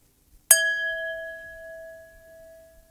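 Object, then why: Glass drinking glass. A drinking glass is struck once and rings with a clear, sustained tone at its main resonance of about 659 Hz. Fainter overtones sit above it, with a bright shimmer at the strike that fades quickly. The note decays slowly over the remaining few seconds.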